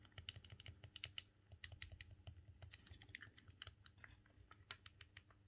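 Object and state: Plastic game controller buttons.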